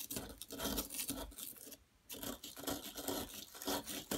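A solid yellow plaster excavation block is scraped at one end with a metal tool, giving irregular, rasping scratches with bright high-frequency grit. There is a short quiet gap in the middle before the scraping resumes.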